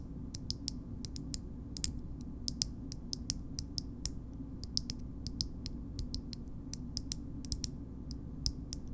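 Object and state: Metal cosmetic jar lid.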